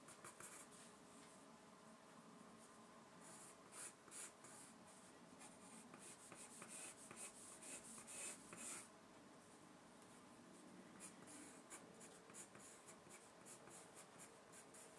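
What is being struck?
Graphite pencil on a paper sheet.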